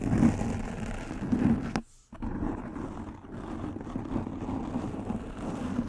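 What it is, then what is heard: Foam microphone windscreen being scratched. Long pink nails scratch and rub a soft black foam windscreen covering a microphone head, producing a dense, close, muffled scraping rustle with a low, rumbling body. The sound drops out almost completely for a moment near the two-second mark, then resumes as steady scratching to the end.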